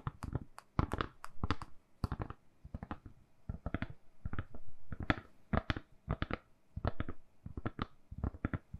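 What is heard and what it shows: A lilac silicone-covered phone case on a phone, hand-sized and solid, is held in both hands and tapped and scratched with long manicured nails. Quiet, dull, low-heavy taps come in quick irregular clusters, mixed with brief dry scratching bursts. Each tap dies almost instantly.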